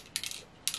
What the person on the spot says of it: we do have something to shake it up, so it's not just that